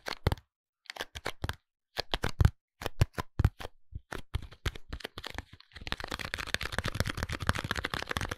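A small, closed pink cardboard soap box with the soap inside is held and tapped on its faces and edges with fingertips and nails. It makes short, dry, crisp taps with a low papery thump, spaced apart at first, then speeding into a dense, continuous rapid tapping near the end.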